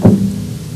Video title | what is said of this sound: Winchester Academy: The Physics of Musical Instruments | you can hear a tone as well, which is made up of several frequencies